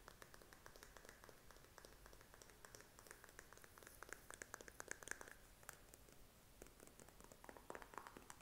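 Fingernails tap rapidly on the flip cap and body of a filled blue plastic lotion tube held close to the microphone. The quiet, dry clicks sound crisp and closely spaced, with some brighter taps around the middle carrying a faint high ring.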